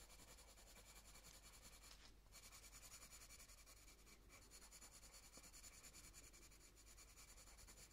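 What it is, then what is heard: Coloured pencil on paper. A light green coloured pencil moves in quick, scratchy strokes across a paper colouring book page, colouring a stem and leaf. A soft, continuous rapid scratching with a bright, hissy edge is heard, with brief lulls around two and four seconds before the strokes resume.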